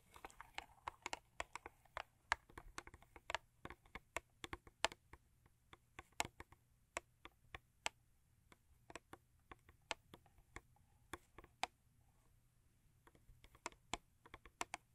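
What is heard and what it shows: Long acrylic nails tap on a thin cardboard Crest toothpaste box lying flat, producing around 35 quick, dry clicks in irregular bursts. The taps are crisp and bright with almost no ring, over a faint low hum.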